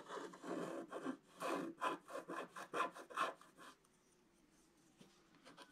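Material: Coated card.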